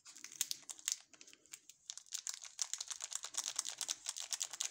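A sealed, full ALBO candy bar in orange plastic film is held in both gloved hands, which flex, rub and turn the wrapper over. It gives a dense run of quick, bright crinkles and crackles with almost no low end. The bursts come in uneven clusters and rise in loudness toward the end.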